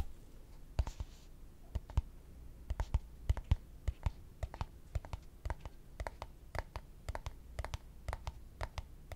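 A small, empty, hollow, translucent clear plastic cup is held in both hands in front of a microphone while short fingertips and nails scratch and tap its sides. Sharp, dry clicks and taps come at an irregular pace over a soft, low scratchy rumble, each tap dying away almost instantly.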